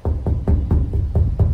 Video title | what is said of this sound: 理想の釣り車を求めてエブリィの天井を断熱する（デットニング） | いろんな場所すごい響くしすごい歪んでるよね